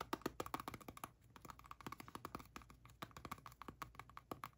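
Long painted nails tap and scratch the label side of a hand-sized white plastic skincare cream tub, hollow and closed with a lid, as it is turned in the hands. Rapid, dry, hollow clicks with a midrange knock and almost no ring come in quick uneven bursts, with a brief quieter scratchy pause before the tapping resumes.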